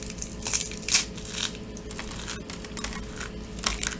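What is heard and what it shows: A small, brittle block of dried soap coated in silver glitter is squeezed and crushed by bare fingers and palm, then rubbed until it crumbles into flakes on a table. Bright, crisp crunching and crackling bursts come through, with the sharpest snap near the one-second mark and further crackles around 1.5 and 3.7 seconds over a steady gritty rustle.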